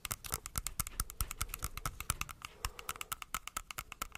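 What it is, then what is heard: Apple tapped with fingernails. Long acrylic nails tap and scratch the glossy skin of a whole, solid, fist-sized dark red apple held close to the microphone. The result is a quick, irregular run of sharp, bright clicking taps with short, dry thuds underneath, mixed with brief scratchy rasps along the skin.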